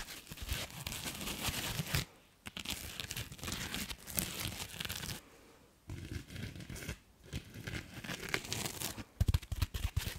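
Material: Foam.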